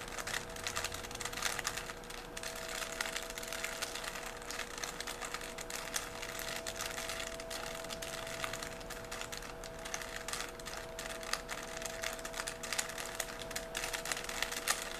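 A small solid 3x3 plastic Rubik's cube is held in both hands while the fingers turn its layers. Quick, bright plastic clicks and sliding rasps come in a dense, steady stream for the whole clip. A faint, steady hum sits underneath.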